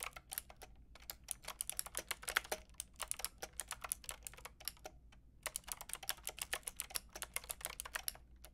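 Fingertips with long red nails rapidly tap a Lofree mechanical keyboard with a white plastic case and round pink and grey plastic keycaps. The result is a fast stream of bright, dry plastic clicks and clacks with no ringing tail, pausing briefly around the five-second mark before resuming. A faint low hum sits underneath.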